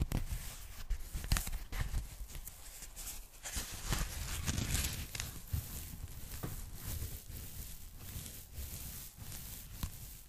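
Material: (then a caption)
Polyethylene foam. A pink polyethylene foam packing bag, folded flat and held in both hands, is tapped and scratched by long nails. The result is soft, dull taps mixed with crackly, rustling scratches across the foam surface, with no speech.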